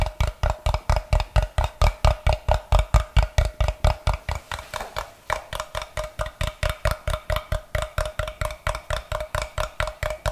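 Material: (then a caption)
Wood. A solid block of unfinished light wood, held in both hands, is tapped by fingertips and scratched with the nails. About 47 rapid, fairly steady taps sound as short, dry, low-heavy knocks, each with a faint midrange ring and a light scratchy edge. The taps briefly soften around the middle before resuming.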